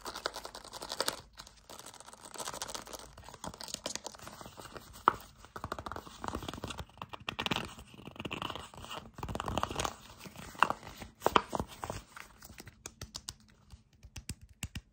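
A Kamill soft plastic hand cream tube with a white cap is gripped, squeezed and scratched with fingertips and short nails close to the microphone. Dense, fast crinkling and crunching with sharp scratchy clicks fills the clip, mostly in the mids with some bright edge and little low end.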